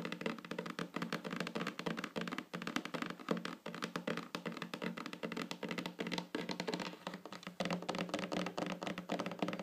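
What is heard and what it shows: Long fingernails on both hands tap in rolling patterns across a flat, solid wooden tabletop. The result is a dense, continuous stream of quick, dry taps and soft thunks that die away almost instantly, with a woody low-mid body and a light clicky edge.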